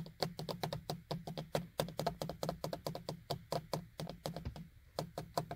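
Fingers and nails knock and tap on the small, hollow beige plastic vanity mirror frame and cover of a car sun visor. The result is a quick, steady run of short, dry clicks and knocks with a low hollow body and almost no ring.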